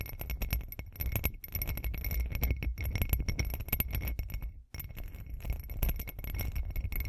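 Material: Glass.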